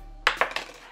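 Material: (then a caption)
Plastic. An old, thin plastic credit card is dropped on its edge, giving three short, light clicks that bounce in quick succession. The ticks are bright with almost no ring, and the card makes only a quiet, plastic-sounding tap rather than a loud one.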